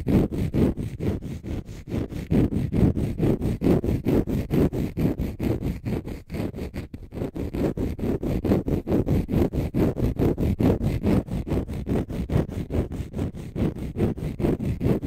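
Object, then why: Dry konjac fibre sponge. A small, light green, porous konjac fibre sponge, dry, soft and spongy, is held in both hands in front of a stereo mic while fingertips and short nails scratch and rub its surface. The result is a steady stream of close, muffled, scratchy rasps, a little over two per second, heavy in the low end with little brightness. A brief softer lull comes around the middle.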